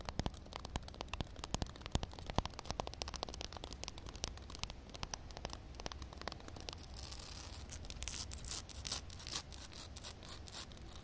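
Long nails tap and scratch across a solid concrete slab with shallow standing water on it. Dense, irregular, sharp clicks with almost no ring run over a steady low rumble, and the second half turns brighter and hissier as the scratching gets wetter.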